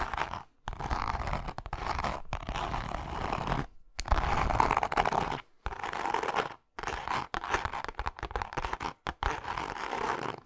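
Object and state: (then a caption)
Textured leather wallet. Long nails on both hands scratch the face of a pink, grained leather zip wallet. The result is dry, crackly scratching centered in the midrange around 1 kHz, in rough bursts broken by brief silences.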